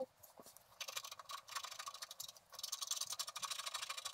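A wooden stylus scratches the black wax coating of a flat scratch-art sheet, a card of black wax-coated paper held by one hand, in dense strokes. Bright, dry, hissy scraping comes in quick rapid bursts after a faint start, with a brief lull midway. It then resumes in a louder, steady run of short strokes with almost no low end.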